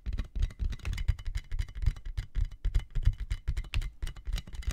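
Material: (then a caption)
Plastic. A clear, inflated plastic air-column cushion bag with hollow tubes is held in both hands close to the mic while fingertips and nails tap it quickly. The result is a rapid, uneven patter of dull, hollow thumps with bright plastic clicks on top. Each tap dies away almost instantly.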